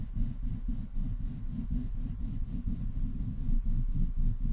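Palms and fingertips of both hands, with long painted nails, rub and slide over the rounded metal mesh grille of a black USB condenser microphone with a metal body and hollow capsule head. The result is a continuous, deep, muffled rumbling scrape that swells and dips roughly twice a second, with nearly all of its sound in the low end and no bright top.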